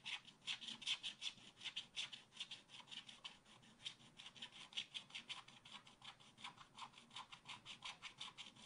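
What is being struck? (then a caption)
Black-coated scratch art paper scratched with a wooden stylus. A wooden stylus scratches rapid strokes across a black-coated scratch art card in a spiral pad. The result is a quick, uneven run of short, dry, bright rasps concentrated around 3 kHz, with almost no low end and each stroke stopping abruptly.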